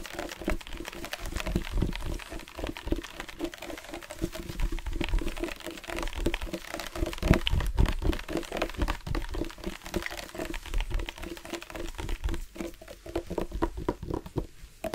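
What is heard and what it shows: A dark plastic sports water bottle with a loop cap, about 25 cm tall, hollow and partly filled with water, is held in one hand and tapped with the fingertips of the other. It gives a rapid, uneven stream of soft, dull, low thuds that die away almost at once, with a faint watery slosh. The sound stays quiet and steady throughout.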